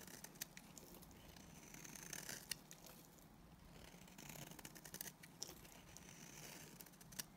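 A solid white speckled bar of soap held in the hand has its dry surface shaved and scraped with a utility knife blade, sending powdery flakes falling. The sound is a quiet, steady dry scratching and rasping, bright and airy, with frequent short crisp clicks and a few sharper snaps standing out.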